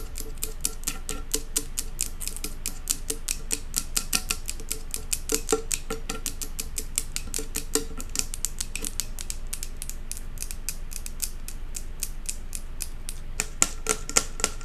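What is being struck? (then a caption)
Glass jar candle with metal lid. Long acrylic nails tap and scratch quickly on a large glass jar candle, working the edge of its silver metal lid and the glass. The sound is a dense, uneven stream of short, bright clicks with a few louder taps standing out near the end.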